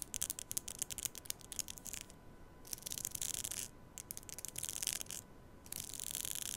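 Long fingernails rub and strum along the teeth of a black plastic comb held upright against a microphone. The result is bursts of bright, crisp ticking and scratchy rasps separated by short quiet gaps, with a faint steady hum underneath.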